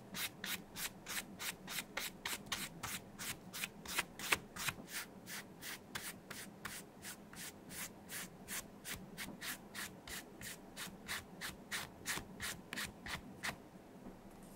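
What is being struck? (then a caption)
Leather wallet brushed with a flat brush. A flat brush is rubbed back and forth over the interior of an open, light blue leather vintage Gucci Sima bifold wallet with card slots, held in gloved hands while dye is brushed on. About 30 quick, steady, bright, dry scratchy strokes sound at roughly three per second. They stop near the end, leaving a faint quiet hiss.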